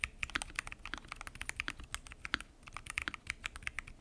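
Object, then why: Mechanical keyboard with plastic keycaps and acrylic case. Fingertips type continuously on a full-size mechanical keyboard with lubed switches, pink and mint PBT keycaps and a transparent acrylic case. The result is a rapid, steady stream of short, crisp clacks that are bright and high, with little low end and almost no ring after each keystroke.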